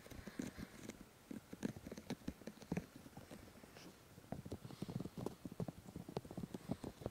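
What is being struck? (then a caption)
Silicone ear replicas on a binaural microphone. Both hands cup and rub the two white silicone ear replicas on the black body of a 3Dio binaural microphone, using fingertips and palms. The result is dense, muffled low thumps and soft rubbing bursts, mostly deep and dull. The sound pauses briefly in the middle before the rubbing resumes.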